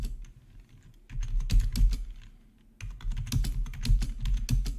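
Fingertips of both hands type on a full-size black plastic membrane gaming keyboard with RGB backlight and a hollow housing, resting on a marble surface. Quick, uneven bursts of soft, low, thuddy key taps with brief bright clicks come in two flurries separated by a quieter pause. The taps stop short with almost no ring.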